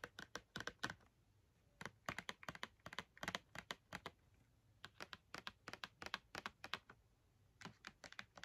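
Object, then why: Cardboard box filled with markers. Long red nails tap on the front of a filled Crayola cardboard marker box held upright, with some taps landing near its top edge. The result is quick bursts of short, dry, clicky taps with a bright, papery edge, separated by brief pauses.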